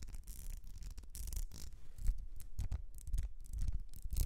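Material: Glass.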